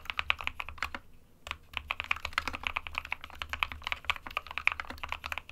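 Fingertips of both hands type continuously on a small 60% SK61 mechanical keyboard with a white plastic case and plastic keycaps, resting on a desk mat. A rapid stream of short, bright, clacky keystrokes is heard, with a brief pause near the one-second mark before the typing resumes.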